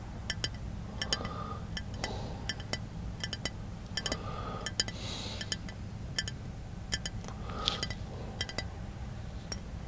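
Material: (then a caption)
Glass. Fingertips tap a small, hollow brown glass bottle held in one hand inside a car, producing a rapid series of short, bright clinks that ring near 3.4 kHz and die away within about a tenth of a second. A steady low rumble sits underneath the taps throughout.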